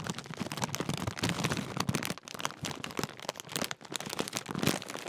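Fingertips crinkle and squeeze a large, apparently full Walkers crisp bag made of metallised plastic film. A dense, continuous run of sharp, bright crackles with a soft low rustle underneath is heard, briefly dipping around 2.2 s and 3.8 s before resuming.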